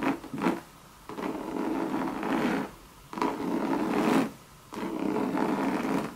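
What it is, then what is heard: Coated canvas and leather handbag, scratched with nails. Long red nails scratch the Monogram coated canvas of a hollow Louis Vuitton leather and coated canvas bucket bag. The result is a dry, raspy scratching concentrated in the low mids with a faint hollow body, heard in several long, sustained strokes separated by brief pauses.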